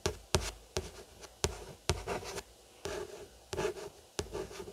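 About eight short scratching strokes, some sharp at the start, then soft papery rasping that dies within a fraction of a second. The sound is dry and bright with no ringing, like a nail tracing over a stiff card book cover in a quiet small room.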